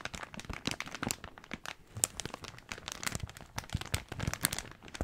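A large, thin, empty blue plastic carrier bag is gripped in both hands and crumpled. It gives off a dense run of sharp, bright crinkles and crackles with no ring, layered over soft low rustling.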